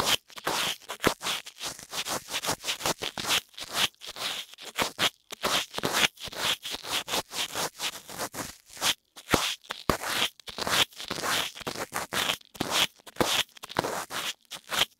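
A thin pink lipstick applicator, held in fingers with long nails, scratches inside the left ear canal of a soft silicone ear on a white binaural dummy-head microphone. The result is a steady run of dozens of short, close-up scratching and scraping strokes, with a few brief pauses. The sound is bright and crackly, with almost no low end.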